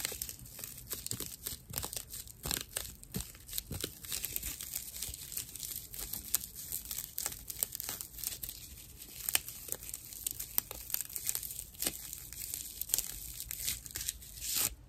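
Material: Plant fibre.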